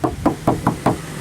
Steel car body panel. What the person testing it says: you will hear if there's body filler it'll sound like you're knocking on a wooden door this you can hear the tin in it